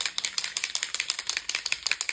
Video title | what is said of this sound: Mixed Media Fun - Make lots of Different Things this Way! + FREEBIE #mixedmedia #junkjournalideas | It's got a ball in it. So you just need to shake it until you can hear the ball.